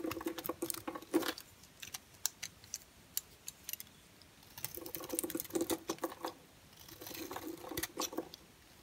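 A solid orange and white striped bar soap, held in the hand, is scraped with a utility knife blade, shaving off dry, crumbly flakes. Three bursts of dense scraping carry bright, crisp crackles and a low tonal rasp, separated by quieter stretches of scattered ticks as the flakes break and fall.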